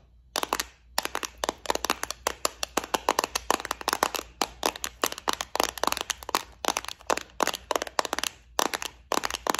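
Long nails tap, scratch and press on the compartments of a small clear plastic multi-compartment bead organizer filled with gold beads. The result is a rapid, uneven run of dozens of sharp, dry plastic clicks and ticks with a bright edge. Each one dies away almost instantly over a faint low background hum.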